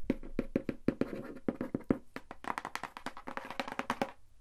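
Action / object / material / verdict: tap / cardboard box / cardboard / none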